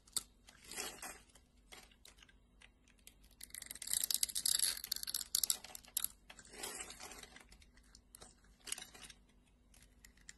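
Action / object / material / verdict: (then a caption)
scrape / translucent glycerin soap bar / glycerin soap / none. A solid red translucent glycerin soap bar, held in hand and cut into a grid, is scraped with a metal blade. It makes crisp, bright crackling and scratchy crumbling sounds in short bursts. The densest and loudest scraping comes in the middle of the clip before it trails off into softer scrapes.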